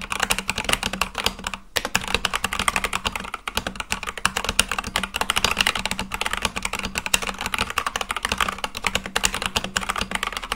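Continuous fast fingertip typing on a full-size Akko mechanical keyboard with white and light-blue plastic keycaps on a black case. The keys make a dense stream of short, bright, clacky clicks with almost no ring, broken only by a brief pause near the two-second mark.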